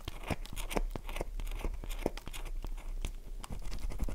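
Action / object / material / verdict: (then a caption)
scrape / bar of soap / soap / none. Long nails scratch the face of a solid, oval, light-blue dry bar of soap held in the palm, leaving grooves and flakes. A quick run of dry, crunchy scratches is heard, close and quiet, with brief bright edges and no ring after each stroke.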